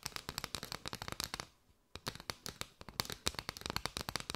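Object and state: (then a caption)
Bundle of paper straws. Long white nails tap and scratch a curved bundle of hollow striped paper straws held close, making rapid dry, bright clicks and light scraping. The tapping runs steadily, stops for a short quiet gap midway, then resumes at the same quick pace.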